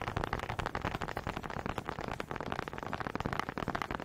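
Two small solid wooden honey dippers with grooved heads, held in both hands with long red nails, are knocked together in front of the mic. The result is a rapid, uneven stream of dry, short wooden clacks centered in the midrange, with almost no ring after each knock.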